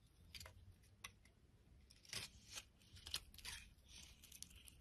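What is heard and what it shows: A solid yellow bar of soap held in the palm is shaved and scraped with a utility blade, curls piling up. Soft, bright scraping and crisp shaving strokes come in short bursts over a low background hiss, with several stronger scrapes standing out.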